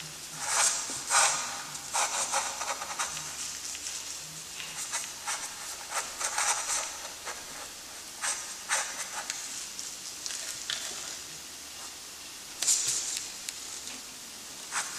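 A graphite stick held in a gloved hand scratches the strokes of a letter across a flat, lined, gray-toned drawing paper sheet in light sketching strokes. The result is bright, dry, hissy scratching in short bursts, with quieter rubbing between them.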